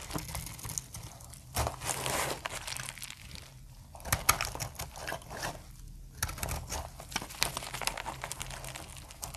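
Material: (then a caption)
Soap. A snap-off metal blade cuts dry plates from the corner of a solid, translucent amber dry soap bar. The result is a crunchy, crinkly shaving sound made of dense, rapid bright crackles, with occasional louder snaps over a soft low rumble.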